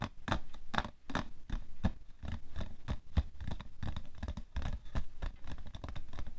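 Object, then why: Cardboard tissue box. Fingernails scratch the front of a printed cardboard tissue box with a plastic-film slot, hollow but full of tissues and resting on white fur. The result is a steady run of quick, dry scratching strokes with a dull, low body and very little ring.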